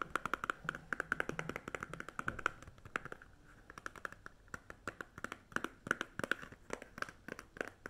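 A small, hollow green Doublemint chewing gum pack made of thin paperboard is held in the hand and tapped and scratched with long fake nails. Quick, dry clicks ring with a hollow papery tone around 1.4 kHz, mixed with soft scratching between bursts of rapid taps.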